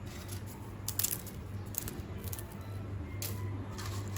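Homemade fried banana chips are broken by hand to show they are crisp, giving short, bright, dry snaps over a low steady hum. The crackling snaps show the chips are crunchy, meaning they are fried through and dry.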